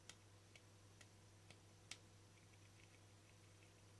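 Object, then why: Small round frosted plastic lid. A small, round, hollow lid of translucent frosted plastic with a yellow-green sticker is held in one hand while fingertips and nails tap its flat face. Five short, bright, clicky taps come in the first two seconds, each dying away almost at once. Fainter soft ticks follow over a steady low hum.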